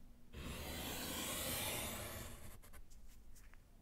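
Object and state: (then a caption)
Chalk scratching on a slate chalkboard. A gloved hand scratches vertical lines with yellow chalk on a small, solid slate chalkboard set in a wooden frame. A long, steady, bright scratch with a low rumble runs for about two seconds, then fades into a series of short, quick strokes.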